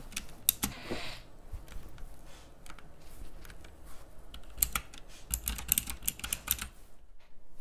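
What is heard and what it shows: Fingertips type on the round keycaps of a pink plastic mechanical keyboard, producing crisp, clicky key presses with bright, sharp attacks. The presses come in quick irregular bursts over a low background hum, each click dying away almost instantly.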